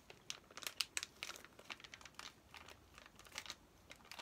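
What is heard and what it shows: Fingertips and nails rub, crinkle and tap the plastic wrapper of a flat, plastic-sealed Paw Patrol paper activity play pack while turning it. Quiet, bright crinkles and sharp little ticks come in irregular bursts, almost all high in pitch with very little low end. Each sound stops dead with no ring.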